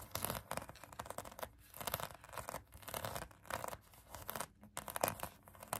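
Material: Foam.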